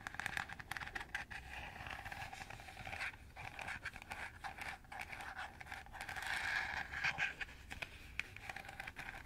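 Fingernails scratch and scrape over the radial slots of a round, hollow, empty green plastic colander held in the hand. The result is a steady stream of rapid, dry plastic scratches and ticks with a bright, hissy upper band, growing a little louder and denser partway through.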